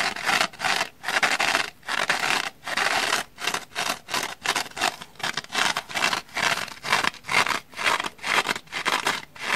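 Long manicured nails repeatedly scratch the black abrasive scouring-pad face of a small, dry orange foam kitchen sponge held in one hand, while a second sponge lies untouched nearby. The sound is a series of short, bright, hissy scratching strokes separated by brief pauses, with almost no low end.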